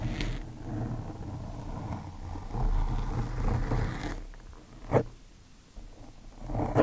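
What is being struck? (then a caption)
Foam microphone windscreen. Both hands rub and scratch a large, soft, porous black foam microphone windscreen with the cotton tips of two Q-tips. The result is a dense, muffled, low rumbling rustle that swells and fades, broken by brief sharp scratchy bursts near the middle and at the end.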